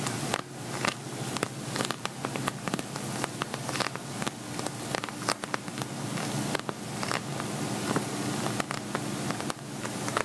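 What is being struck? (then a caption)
Glitter vinyl zippered pouch. Fingernails tap and scratch on an empty, hollow silver glitter vinyl zippered cosmetic pouch. Quick, crisp clicks land over a continuous crackly, rustling scrape, with a faint steady hum underneath.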